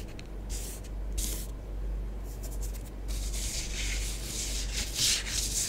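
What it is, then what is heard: Bath bomb powder scraped on a tabletop. A long nail writes letters and rubs through orange bath bomb powder spread on a tabletop. Soft, dry scratching and brushing comes in bright, hissy strokes that grow denser and louder toward the end, over a steady low hum.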